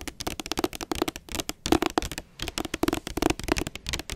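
Long nails tap and scratch across the front cover of a blue hardcover book with a glossy jacket, held upright. The result is a rapid, uneven string of dry, clicky taps with a hollow tone around 320 Hz, mixed with brief scratchy rasps. Each tap dies away almost at once.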